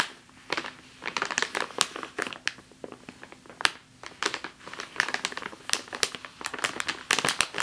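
Long fingernails on one hand scratch and tap a full plastic bag of flour, making a rapid, uneven series of sharp, bright crinkles and clicks. Each one dies away almost instantly, with quiet gaps of soft rustling in between.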